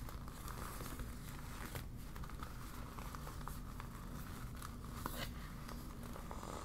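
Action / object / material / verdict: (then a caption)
scrape / deflated vinyl beach ball / vinyl / none. A deflated yellow vinyl beach ball, flattened into a sheet, is crumpled and crinkled in both hands with long nails. Soft, steady plastic crinkling and rustling continue throughout, with brief sharper crackles on a low, dull rumble at a quiet, even level.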